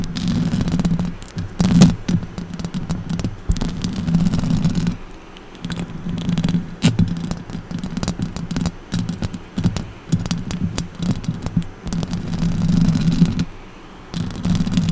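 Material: Metal mesh.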